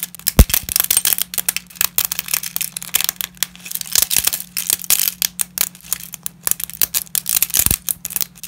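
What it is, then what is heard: Dry lasagna sheets, brittle. Fingers in black nitrile gloves snap and crack brittle pieces of dry wheat lasagna sheets with wavy edges and crush them against a pile of broken sheets. A rapid series of sharp, bright cracks and crunches plays over a faint, steady low hum.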